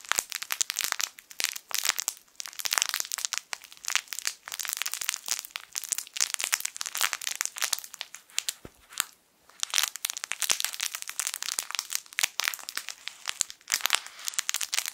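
A hand-sized, yellow, sun-shaped plush fabric crinkle toy with crinkle film inside is squeezed and crinkled with the fingertips. It makes dense, bright, crackling crinkles that come in uneven bursts, with a brief quiet pause partway through. The sound has almost no low end.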